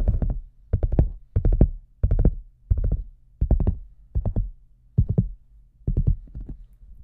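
Fingertips and nails tap the front and sides of the shaft of a large, hollow red rubber boot with a microphone inside. The sound comes in short, repeated bursts of quick taps. Each tap is a deep, hollow, dull thump that dies away almost at once, with a faint clicky edge above the booming low end.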